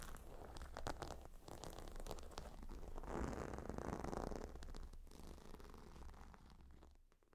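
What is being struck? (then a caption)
Gemstone-tiled pillow with leather edge. Long nails scratch across the stone tiles of a gemstone hot stone pillow and run along its leather edge. The result is a dense run of quick, crisp scratches and crackly rustling over a steady low hum, swelling into a rougher grinding passage midway before fading out.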